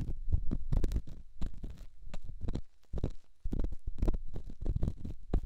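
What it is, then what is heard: Rough stone rubbed on a silicone microphone ear. A solid, rough rock held in the fingertips is rubbed against a silicone microphone ear. It makes a rapid run of muffled, deep scraping thumps and rumbles with almost no brightness. The sound briefly drops quieter near the middle before the dense rubbing resumes.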